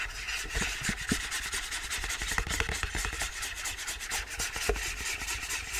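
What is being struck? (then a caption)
Cardboard sleeve. Fingers and nails rub and scratch an empty white cardboard sleeve with a window cutout. A steady, dry, bright scratching and rustling runs throughout, with brief sharper scrapes standing out now and then.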